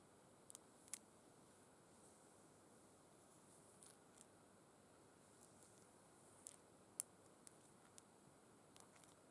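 Long red acrylic nails tap and scratch along burgundy faux suede gloves lying flat and empty on a tablecloth, with fingertips resting on the soft fabric. The clicks are very quiet and sharp, with bright, short ticks scattered over a steady low hiss.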